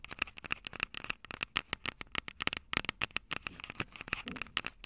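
Long purple nails rapidly tap and scratch the two silver metal mic capsules on the plastic body of a Tascam DR-05 handheld recorder. The result is a dense stream of sharp, bright clicks and scratches that cut off almost instantly, with a tonal ping around 1.3 kHz and a little low-end thump.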